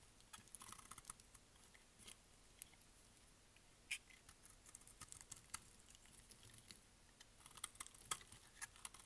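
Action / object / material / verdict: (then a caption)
scrape / bar of soap / soap / none. A solid, dry pink bar of soap held in the hand has its edges cut and shaved with a utility blade, and flakes fall away. The result is quiet, dry, irregular scraping and crisp ticking, bright and short with no ring. The sounds cluster at the start and end, with a sparser stretch in the middle.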